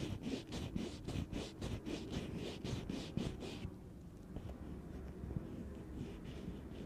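A gloved hand in black leather or nitrile rests on the hollow, medium-sized metal mesh grille atop a black Blue Yeti USB microphone and scratches and rubs it with the fingertips. Quick, uneven scratching strokes with bright, hissy edges and a close, low rumble give way after about 3.5 seconds to softer, duller rubbing.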